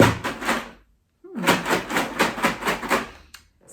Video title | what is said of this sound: Sunday Stream 17th January 2021 | quite similar but a little bit deeper